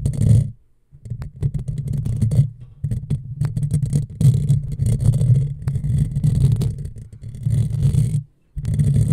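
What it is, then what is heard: Metal mesh microphone grille being scratched. Long fingernails scratch a hollow black metal mesh microphone grille, first with one hand and then with both hands. The scratching comes through as a dense, low, rumbling scrape centered around 113 Hz, with a faint bright hiss. It is broken by short pauses near the start and end.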